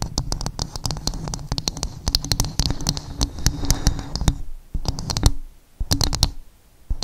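Fingernails tap quickly and scratch across the fibrous surface of a coconut shell dome, making a dense run of dry, sharp clicks with a bright top and a hollow, low body. The taps stop ringing almost at once, with brief quiet pauses near the end between bursts of tapping.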